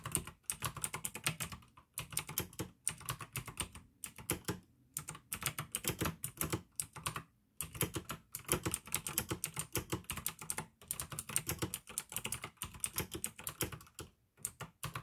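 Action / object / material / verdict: tap / plastic mechanical keyboard / plastic / none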